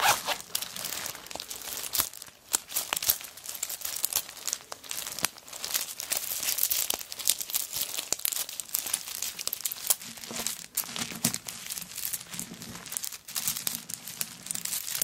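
Long acrylic nails scratch and scrape across a hollow handbag covered in many small pieces of coconut shell, with a wooden bead handle, lying on a tablecloth, while fingers press and grip the bag. The sound is a dense, continuous stream of dry, bright crinkling and scratchy clicks with almost no low end. Faint low hums appear in the second half.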